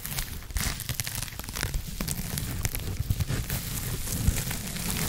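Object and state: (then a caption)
Foam scrub sponge. A soft blue foam scrub sponge with a white backing is scratched and rubbed with long nails against the mic side. The result is a dense, continuous crinkling and scratchy rustle with a heavy low rumble underneath and short bright crackly streaks throughout.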